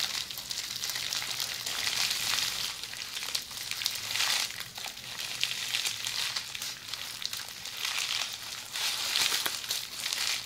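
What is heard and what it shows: Long polished fingernails scratch a tube of red plastic bubble wrap that is rolled hollow and held upright. The result is a steady, bright, crinkly scratching and rustling that swells and dips in waves for about ten seconds, with almost no low end.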